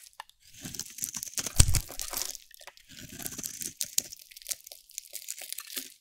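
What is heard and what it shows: A solid bar of dry pink soap, held in the hand, is shaved with a metal utility blade. Close, crackly scraping and cutting crunches come in dense bursts with bright, high-pitched grit, peaking in one sharper crunch early on. After a brief pause, the strokes resume.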